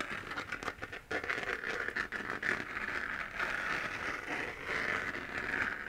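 Fingernails scratch the hollow, textured surface of a 3D-printed plastic moon lamp, a sphere glowing white. A steady, dry scratching rasp fills the clip, centered in a bright upper-mid band with a few sharper ticks near the start. There is almost no low end.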